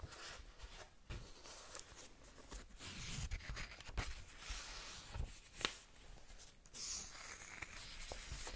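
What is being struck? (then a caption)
Paperback book, paper with glossy cover. Long nails scratch and tap the glossy cover and page edges of a small paperback manga book. The result is a quiet, steady, bright papery scratching with a low rumbling undertone, broken by a few short, sharp taps.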